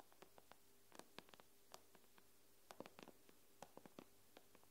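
Long pink nails tap on the glass screen of an iPad lying face up. Quiet, dry, clicky taps come in an uneven string, sometimes in quick clusters, each dying away almost instantly over a faint, steady low hum.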